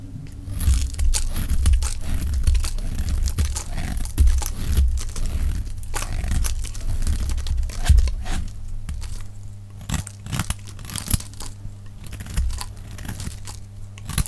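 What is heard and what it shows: A hand-sized, solid pink oval bar of dry soap, held in one hand, is shaved with a metal utility-knife blade in quick, repeated scraping cuts, with the pace sped up. Dry, crunchy scrapes and crinkling tears come in a dense, uneven stream over a heavy low rumble, with bright gritty edges on each cut. Curls of soap fall away as it is carved.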